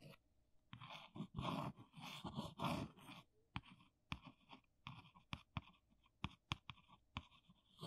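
A small brown cardboard box, held at an angle, is traced and scratched across its printed side with an index fingernail. For the first three seconds there is a dense, rasping scratch, followed by a run of short, dry, sharp ticks and scrapes with quick decays and quiet gaps between them.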